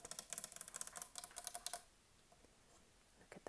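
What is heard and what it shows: Long acrylic nails and fingertips tap quickly on the edge and squares of a large, solid, flat stone chessboard, likely marble or soapstone, with carved light and dark stone pieces standing on it. A fast run of crisp, bright clicks lasts just under two seconds, then goes quiet before a few more taps near the end.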